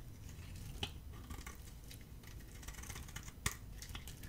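A hand-held dry bar of solid soap, red-coated with a white core, is shaved with a metal utility blade. Soft, quiet scraping and fine crackling run throughout over a low background rumble, with two sharper, bright clicks standing out near the start and toward the end.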